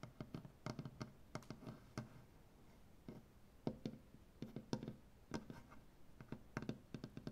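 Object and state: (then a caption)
Wooden butcher block table. One hand with long painted nails taps and scratches across a large solid maple butcher block tabletop. The result is a quiet series of sharp, dry clicks with very short ring and a low-mid body, separated by soft scratchy rasps along the wood grain.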